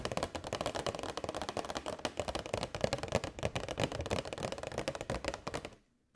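Long nails tap rapidly on a hollow, transparent plastic box holding LED string lights, giving a dense run of crisp, clicky taps with a hollow tone centred around 550 Hz. The tapping stops just before the end, dropping to near silence as the box is tilted toward the camera, and a single short sound cuts in at the very end.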